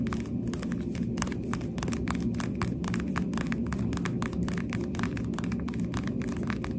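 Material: Plastic.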